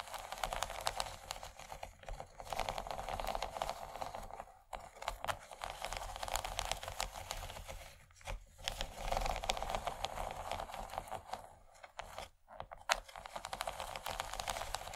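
Long nails scratch and tap across the bumps of a large, empty yellow textured plastic tray. It makes a dense, crackly scraping with quick dry ticks, centered in the mid-range around 730 Hz with a bright edge. The sound runs almost continuously, with short pauses near 4.7, 8.3 and 12.3 seconds.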